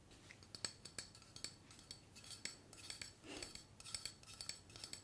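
A tall, slim aluminium hairspray aerosol can with a black cap, hollow and pressurised, is held upright in one hand and tapped and scratched with long painted fingernails. It makes a quick series of quiet, bright metallic ticks and clinks that stop almost instantly, with a brief scratchy rasp partway through.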